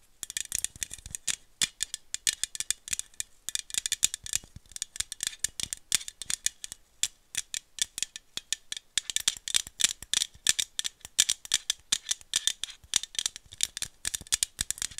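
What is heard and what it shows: Long nails tap quickly and continuously on the side and bottom rim of a hollow aluminum screw-cap coffee drink bottle. The result is dense bursts of bright, dry metallic clicks with a thin ring around 3.6 kHz, almost no low end, and brief pauses between flurries.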